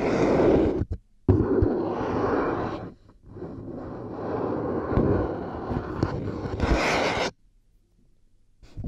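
Long nails scratch and tap the headband and earcups of white plastic headphones resting on a binaural microphone. Dense, raspy scraping comes in long bursts with a couple of short gaps, mixed with sharp little clicks. It then drops off into near silence.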